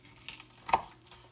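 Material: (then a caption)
Fried breading. Freshly fried, breaded chicken gizzards are handled to show how crispy the crust is. Faint crackles and scrapes are heard, with one sharper crunch near the middle. The crust sounds crisp.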